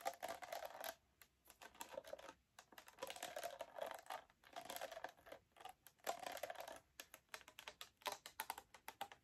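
A small blue plastic Fanta bottle with an orange cap, partly filled with liquid, is held in both hands and tapped and squeezed with long black acrylic nails. The result is a rapid run of light, dry plastic clicks and crinkly scratches in uneven bursts, with short pauses between them.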